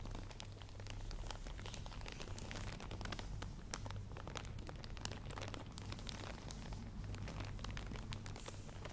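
Long manicured nails scratch and tap across a wide padded hair headband fully covered in small plastic faux pearl beads, held up in one hand. The result is a dense, continuous stream of quick, bright clicks and crinkly rattles over a steady low hum.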